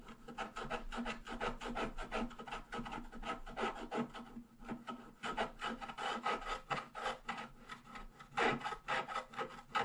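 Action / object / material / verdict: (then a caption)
scrape / black-coated scratch-art paper scratched with a wooden stylus / coated paper / none. A wooden stylus scratches the black coating off a flat scratch-art page near the bottom, revealing purple foil, while the other hand holds the page flat. Quick, repeated dry rasping strokes run steadily throughout, with a brief lull around the middle and a few louder, firmer scrapes near the end.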